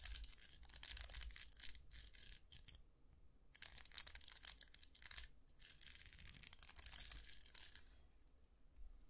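Fingers scratch and flick the plastic bristles of a round hair brush with a hollow metal barrel, held up in both hands. Dense, bright, crackly scratching comes in bursts, with short quiet gaps near 3 and 5 seconds, over a faint low hum. The scratching thins out toward the end.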